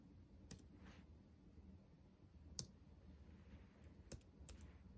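Fingertips tap quickly across the black plastic keys of a backlit laptop keyboard set in a metal body. Five sharp, bright clicks stand apart over a quiet, low hum, each dying away almost instantly.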